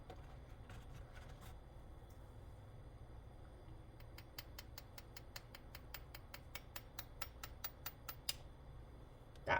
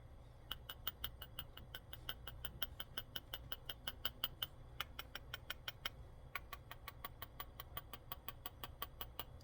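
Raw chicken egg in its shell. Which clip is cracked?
The first.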